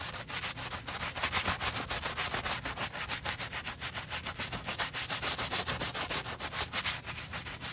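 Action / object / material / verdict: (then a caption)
scrape / leather boot scrubbed with a bristle brush and soapy foam / leather / none. A gloved hand scrubs the heel and back of a hollow black leather UGG men's boot fast with a wooden bristle brush and soap foam. It produces a rapid, steady run of bright, hissing bristle strokes with a soft foamy rasp and little low end.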